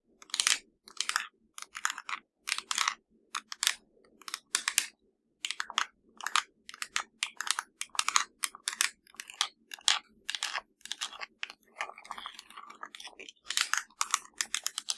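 Long acrylic nails tap and scratch the buttons and casing of a hollow black plastic LG TV remote lying flat. The result is a rapid, irregular stream of dry, crisp clicks and scratchy bursts, bright and sharp with almost no low end, each one dying away instantly between brief pauses.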